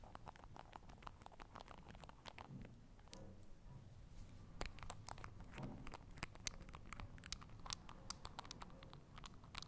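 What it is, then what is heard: Small glass bottle with plastic cap, tapped and scratched. Long acrylic nails work the white plastic dropper cap of a small, partly full, clear glass Essence express dry drops bottle for nail polish, unscrewing, tapping and scratching the lid. The result is a quiet, dense stream of short, dry clicks and scratchy ticks with bright edges and no ring, over a low rustling bed.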